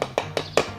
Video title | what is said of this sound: 【ガレージ diy】ガレージのスロープ作り 前途多難で超疲弊 @2 | ちゃんとくっ付いていると・・重い音になる